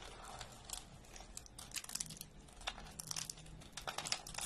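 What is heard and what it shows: Fingers snap and crumble thin, brittle orange soap slices and flakes on a wooden table. A quiet, rapid series of dry, bright crackles and crunches comes in short bursts over a faint low hum, as the dry soap breaks and crumbles apart.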